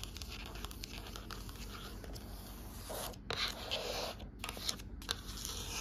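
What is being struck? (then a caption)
Cloth-covered hardcover book. Long nails scratch and tap the cover and spine of a closed blue cloth-covered hardcover book with gold lettering on the spine. A dry, bright, irregular scratching rasp fills the clip over a steady low hum, with a few sharper, louder taps and scrapes in the second half.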